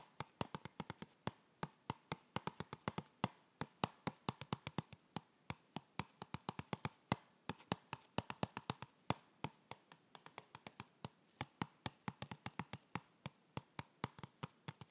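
Fingertips tap a medium-size, hollow, white printed cardboard yoga block box held in the hands. Dozens of quick, dry, hollow taps come in an uneven, rapid rhythm, each dying away almost instantly.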